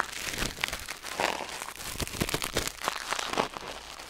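Metal tweezers held in the fingers scrape and pick inside the ear canal of a white silicone ear mounted on a black binaural microphone. The result is a steady run of close, crinkly crackles and short bright scratches, quick and dry with almost no ring.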